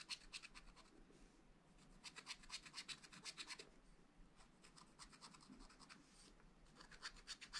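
A wooden stylus scratches strawberry seeds into a black, wax-coated scratch-art page in a small spiral-bound pad of thin, flat paper. Bursts of short, dry, bright scratches come in quick clusters with brief pauses between them, over a faint low hum.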